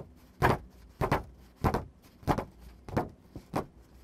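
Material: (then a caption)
Paper. Fingertips and nails scratch and tap across the surface of a thin white printer paper sheet. Ten short, crisp bursts come at an uneven pace, several in quick pairs. Each is a broadband, bright rasp with a soft low thump that dies away almost at once.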